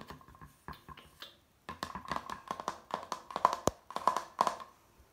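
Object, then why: Thin hardboard placemat. Fingertips and nails tap the glossy surface of a flat, thin, rigid hardboard placemat printed with a sailing-ship harbour scene and hung on a wall. The result is a quick series of light, dry clicks with a faint ringing tone near 1 kHz that dies away almost instantly, after a brief pause partway through.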